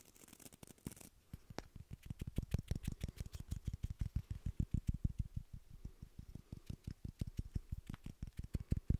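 A small rectangular wooden beard brush with a solid light-wood back and black bristles is held in both hands while fingertips and nails tap and scratch the wooden back. The first second carries a bright, scratchy edge, then dozens of quick, dull, low taps follow in a steady patter. Each tap dies almost instantly, with no ring.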